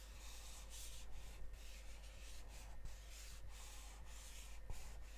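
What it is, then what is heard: Cardboard chocolate box. Fingernails scratch and tap the glossy printed surface of a gold cardboard chocolate box held upright. Soft, continuous scratchy rubbing comes in bright, hissy bursts over a steady low hum.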